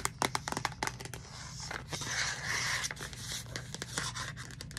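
Long nails tap and scratch the lid and side of a hollow pink plastic Starbucks reusable cup with a purple lid. A quick, uneven run of sharp, bright clicks gives way to a steady scratchy scraping in the middle, then more scattered taps. The sound is close and dry, with little ring after each tap.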